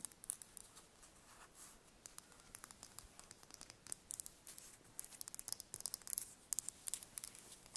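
A small whole brown chicken eggshell is held in the hands while long nails tap and scratch across it. Quiet, rapid, bright clicks and dry scratching sounds come in quick irregular bursts, getting busier toward the end.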